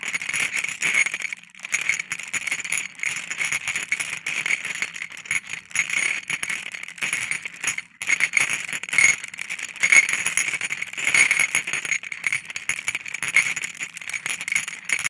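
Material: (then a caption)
Glass. About 15 solid coloured glass marbles on a white ceramic plate are tapped and stirred with a wooden stick, giving a dense stream of bright clinks and rolling rattles. The clicks are sharp and short with almost no low end, and they continue through the whole clip with brief quiet gaps.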